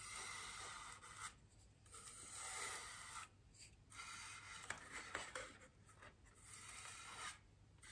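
A small paintbrush's bristles gently brush over a large white solid styrofoam wreath ring resting on a table. Soft, bright scratchy strokes come in several bursts separated by brief quieter pauses.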